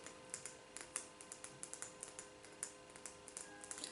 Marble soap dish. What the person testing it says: quand on tape dessus c'est un son qui est quand même moins léger que les autres